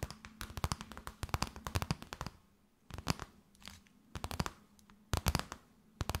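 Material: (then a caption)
Plastic. Long nails tap and crinkle an empty, clear plastic bag held up in a tent shape. The result is clusters of quick, crisp, papery clicks and crackles with short quiet gaps between bursts. Each tap is dry and dies away almost instantly.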